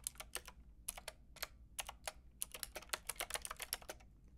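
Fingertips with long red nails type rapidly on a Lofree mechanical keyboard with a white plastic case and round pink and grey plastic keycaps. About twenty-one short, bright, clacky key taps come in quick uneven bursts, each dying away almost at once over a faint low hum.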